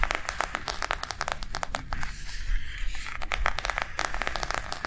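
Long nails tap fast on a small white plastic cardholder book with a cactus print and snap closure, lying on a table. The result is a quick run of dry, sharp clicks with no ring. In the middle, a softer bright rustling briefly replaces the clicks before the tapping resumes.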